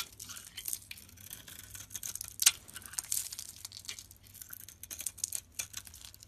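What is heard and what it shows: A metal box-cutter blade shaves and scrapes the surface of a palm-sized, solid pink Arko bar soap held in the hand. The result is a quiet run of dry, bright, crackling scrapes, with one sharper, louder scrape about midway through.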